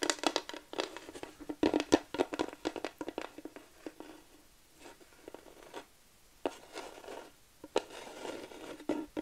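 Long nails scratch and tap across a flat wooden plaque sign, making quick, dry clicks and raspy scraping strokes in an irregular rhythm. The taps are short with almost no ring, a woody midrange body and bright scratchy edges. The sound thins to soft, light scraping for a stretch before the brisker tapping returns.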